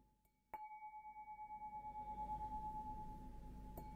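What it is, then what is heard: Stemmed glass goblet, ringing. A clear, empty stemmed glass beer goblet with a green logo, held up by its stem, is tapped with a fingertip or fingernail. A sharp tap starts a long, pure ringing tone with a fainter higher overtone that sustains with a gentle pulsing waver, and a lighter tap near the end briefly freshens the ring.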